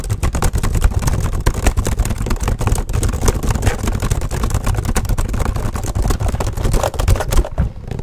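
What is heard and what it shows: Both hands type fast with their fingertips on a black plastic HP laptop keyboard. The result is a dense, continuous stream of quick, short taps and clatter, weighted toward a low, thumpy body with little high brightness.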